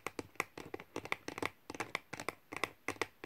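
Fingertips with medium nails type and tap on the low-profile plastic keys of a thin white wireless keyboard with an aluminium base. About nineteen quick, dry clicks sound in an uneven rhythm, each sharp and bright with almost no ring or low thump.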